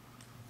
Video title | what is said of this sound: Droid Charge Review - The Best 4G Phone? | when there's a bit of a gap between the back and when the battery is underneath there, you get that almost, you can sort of hear it, hollow sound